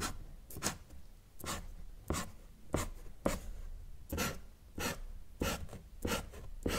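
A felt-tip marker draws a sun outline and short ray strokes on a thin, solid sheet of flat white drawing paper. A series of short scratchy strokes follows at a loose, uneven pace, each a brief bright rub of the tip against the paper with a soft low thud underneath. The strokes stop cleanly with almost no ring.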